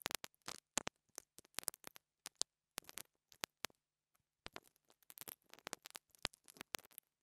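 The metal grille on top of a small black plastic $2 mini lavalier microphone, held in the fingers, is brushed and scratched with a pink interdental brush with wire bristles. It makes a rapid, uneven series of short, dry, bright scratches and rasps close to the mic, with quick bursts and brief pauses. Each one cuts off at once with no ring.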